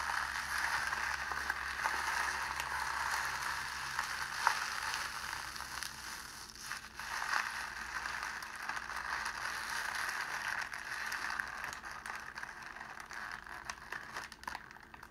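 A small ball of clear cellophane sheet is squeezed in cupped hands, then released and left to slowly unfold. It gives a continuous dense crackling and crinkling, brightest in the mid range with some high hiss, and small sharp pops stand out now and then. The sound grows slightly quieter and sparser as the cellophane relaxes.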